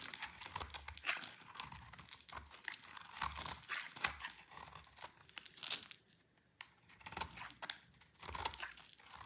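A solid, dry orange Palmolive soap bar held in the hand is shaved with a utility knife blade, and crunchy curls fall away. Many dense, dry, bright scraping crunches and crinkles come in quick bursts, with brief quiet gaps.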